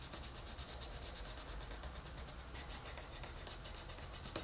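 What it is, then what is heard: Colored pencil rubbing on a paper page. A wooden colored pencil is rubbed in steady strokes across the page of a large open paper coloring book lying flat on a desk, while a hand with red nails holds the page. A continuous bright, dry scratching rasp pulses with each back-and-forth stroke, with a low hum underneath.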